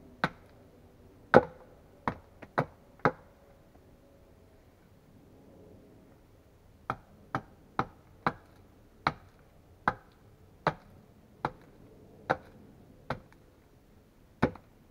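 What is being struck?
Wooden log struck with a steel axe.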